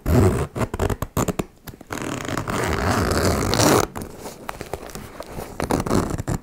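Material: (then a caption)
Metal. Long-nailed fingers, with both hands holding a small turquoise embossed faux leather cosmetic pouch, drag the slider along its metal zipper teeth, zipping it open and closed. Short, choppy ratcheting bursts give way to a long, steady rasping pull that ends abruptly. Softer, grainy zipping and a few final quick strokes follow.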